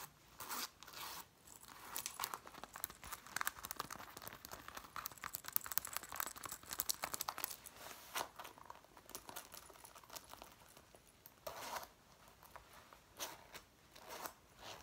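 Long nails scratch and rub the sleeve and front panel of a dark brown faux leather jacket being worn, its soft, flexible material giving off quiet, bright crinkling and scraping sounds. The rustling comes in dense, uneven bursts with almost no low end.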